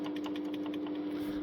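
Steel cam chain on a Honda VTR1000 engine set at top dead centre with timing marks confirmed correct, moved by hand to show its slackness. A quick run of light tapping, ticking clicks sounds over a steady hum. The slack cam chain is the cause of the engine's tapping issue, calling for a new chain guide and tensioner.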